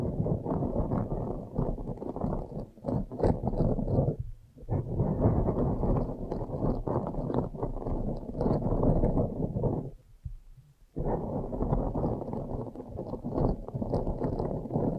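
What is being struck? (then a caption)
Foam microphone windscreen. Both hands with long nails scratch the sides of a blue foam windscreen on a microphone. The result is a dense, muffled, low scratching and rustling with no bright edge, pausing briefly around 4 seconds and again for about a second near 10 seconds before resuming.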